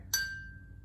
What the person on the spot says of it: here's less water high